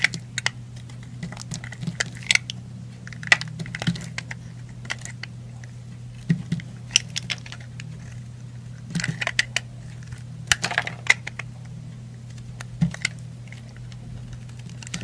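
A yellow utility knife blade cuts and scrapes chunks off a solid yellow-orange bar soap held in fingers with painted nails. Many short, bright, crisp scraping and snapping clicks come in irregular clusters over a steady low hum.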